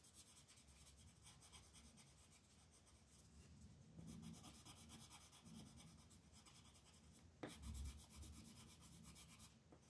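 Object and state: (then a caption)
Colored pencil on paper. A red colored pencil is rubbed back and forth across a flat paper coloring book page to fill in letters. The result is a quiet, continuous scratchy rasp with fine bright grain, rising in short strokes and swells. A sharper tap-like scrape stands out near the end.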